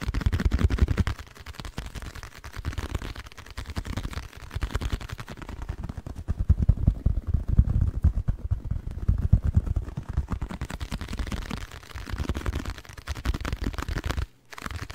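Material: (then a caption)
Cardboard. A small, hollow, blue printed cardboard packaging box is held close to the microphone and tapped and scratched with fingertips and nails, the fingers wearing rings. Rapid, dry, deep thumps and soft scratching run continuously with very little ring, briefly dropping to near silence just before the end.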